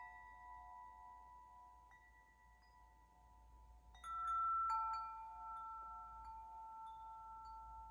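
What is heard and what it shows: A hollow metal tube wind chime is held by its top and swung gently so the striker hits the tubes. Soft, clear metallic tones around 890 Hz ring with bright overtones, strike more loudly about halfway through, and overlap as they sustain for several seconds.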